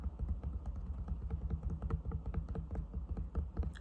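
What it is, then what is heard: Cork yoga block. A cork yoga block is tapped and scratched with quick, soft, dull knocks and faint scratching, with almost all the energy in a low thump around 74 Hz. Each tap dies away almost instantly, with no ring.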